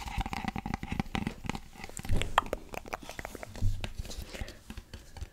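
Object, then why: Small cardboard gift box. A small, hollow teal cardboard gift box with a satin ribbon is held close to the microphone and tapped and scratched with fingertips and nails. Quick, dry taps and scratchy, crinkly rustles follow one another rapidly, carried mostly by dull low thuds with a short mid-range tick. A few firmer knocks stand out near the two- and three-and-a-half-second marks.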